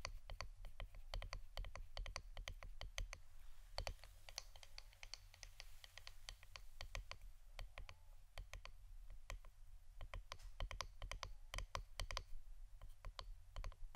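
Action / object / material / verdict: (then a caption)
tap / wooden incense stick holder / wood / none. Fingernails tap on the wooden part of an incense stick holder, making rapid, dry, clicky taps that stop almost instantly. The quick, irregular clicks carry bright highs and sit over a steady low hum.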